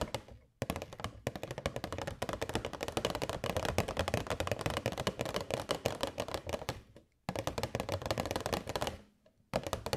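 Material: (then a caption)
Plastic. A hollow, transparent rectangular plastic box holding purple LED fairy lights is held in both hands and tapped quickly with long white nails. The result is dense runs of sharp, clicky taps with a hollow midrange tone and almost no ring. The tapping breaks off briefly near the start, at about seven seconds, and again just before the end.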